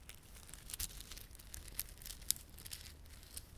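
A small clump of plastic garland with glossy dark blue and silver solid plastic beads and red spiky plastic fringe is held in both palms while fingertips rub and squeeze it. Soft, bright crinkling runs throughout, broken by sharp high clicks, with a few louder snaps standing out, all quiet and close.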